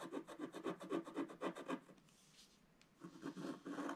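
A wooden stylus scratches quick strokes into the sky area of a flat, black-coated scratch-art page while the other hand holds the sheet. Rhythmic rasping scrapes with a mid-range body come in a steady run, pause for about a second, then resume.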